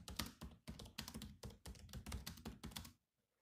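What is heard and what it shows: Bare fingertips type on the black plastic keys of a grey laptop, producing rapid clicky taps with a low thud under bright clacks. The typing runs in quick bursts for about three seconds, then stops into silence.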